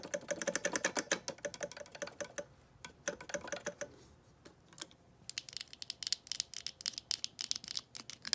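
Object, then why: Hard plastic rotary telephone handset. Long painted nails tap and scratch the hollow hard-plastic handset of a vintage green rotary telephone, lifted from where the phone sits on carpet, working near the earpiece grille and along the body. Rapid, bright, dry clicks clatter in quick bursts with faint scratching beneath. They thin out to a quieter stretch around the middle, then pick up again.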